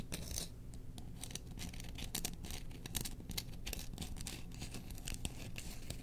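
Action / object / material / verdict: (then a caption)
scrape / bamboo spoon / bamboo / none. Long nails scratch and tap along the handle of a long, solid bamboo spoon with a burned Chewbacca print, held up in the air. The result is a dense run of dry, crackly scratches broken by quick, bright taps, over a steady low rumble.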